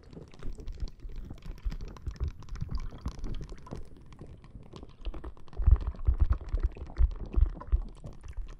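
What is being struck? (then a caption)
Plastic bag filled with gel water beads. Long painted nails scratch and tap a clear plastic bag full of green gel water beads resting on the microphone. The result is a dense, irregular stream of soft, squishy crackles and muffled, bass-heavy thumps, with heavier taps landing toward the end.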